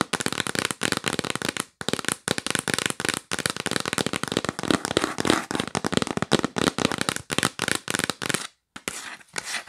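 Long pink nails tap fast on a yellow printed cardboard gift box held upright. Quick, dry, broadband clicks come in dense bursts separated by brief pauses, with a hollow papery tone and very little ringing. Near the end, after a short silence, the tapping turns softer and quieter.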